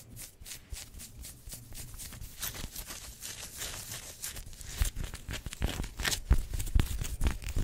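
Long white-tipped nails and fingertips scratch and rub across the chest of a black-and-yellow pinstriped football-style polyester sports jersey, its thin synthetic fabric worn on the body. Quick, irregular bright rasps and swishes run throughout over a soft low rumble, growing louder and sharper in the second half with a few crisp scrapes near the end.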